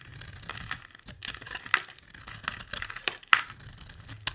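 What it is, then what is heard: Bar soap being carved. A solid oval cream bar of soap, held in the hand, is scraped and carved with a metal utility blade, and flakes fall away. Dry, crisp, crinkly scraping comes in irregular strokes, broken by a few sharp, bright ticks where the blade bites in.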